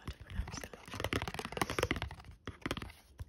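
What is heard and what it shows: Painted fingertips and nails tap repeatedly on a single small, flat, thin printed cardboard Pokémon trading card (Galarian Darumaka) held up in the air. Quick, dry clicks and papery scratches run close together with almost no ring, then pause briefly before a few more taps.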